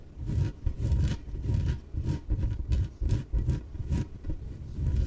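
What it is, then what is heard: Inflatable PVC exercise ball. Long nails scratch and rub the sides of a small, yellow, hollow, air-filled inflatable PVC exercise ball. Repeated rubbing strokes produce dull, low, booming swishes, with faint bright scratchy streaks on some strokes and brief pauses between them.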